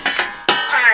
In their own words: that is a heavy piece of Steel you can hear how it's ringing whenever I move it